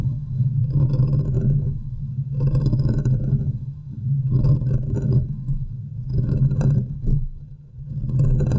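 Long nails scratch the sides and top of the hollow domed metal wire-mesh grille on a large silver USB condenser microphone. The scratching comes in rough, rumbling swells about every two seconds, with a heavy low boom and faint bright rasp, and it fades slightly between strokes.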